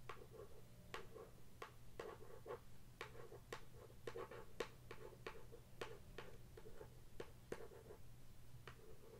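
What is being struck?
Cardboard product box tapped with fingernails.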